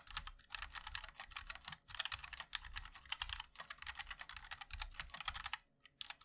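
Fingertips of both hands type continuously on a compact 60% MOD-L mechanical keyboard with a black case, white and black plastic keycaps and linear switches. The result is a fast, dense patter of bright, crisp clacks with a soft low thud beneath each keystroke and almost no ring. There is a brief pause near the end before the typing resumes.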